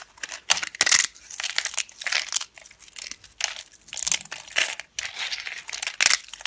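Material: Soap.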